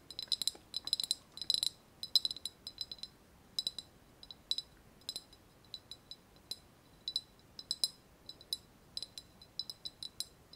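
Long nails tap a small, hollow, white glazed ceramic vase with a wavy relief surface, held in both hands. About forty quick, light clicks ring out in irregular bursts, each bright and high with almost no low end and a very short ring.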